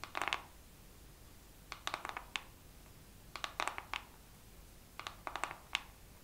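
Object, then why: Plastic makeup palette. A makeup palette is tapped slowly with long nails. Several clusters of short, crisp, bright clicks come in bursts separated by pauses over a quiet background.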